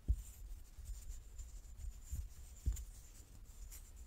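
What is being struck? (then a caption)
Large wooden die. A large solid light-wood die with dark pips is held in both hands, turning in the palms as fingertips and nails rub and slide over its faces. The result is a quiet, low, muffled handling rumble with faint bright scratching, broken by three soft, short knocks.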